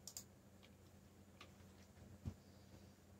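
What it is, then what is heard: Mechanical keyboard keystrokes. Fingertips type on a backlit black plastic mechanical keyboard, producing four sparse clicky keystrokes with short, bright clacks over a low steady hum. The strokes are quick and dry, with one heavier thump near the end.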